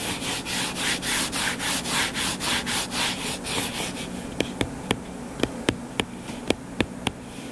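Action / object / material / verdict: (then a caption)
scrape / closed hardcover book / cardboard / none. Fingertips and nails scratch the cover of a closed, solid hardcover book lying flat on a table, making rhythmic, bright, rasping strokes for about four seconds. The scratching then gives way to a series of short, sharp clicks with quieter friction in between.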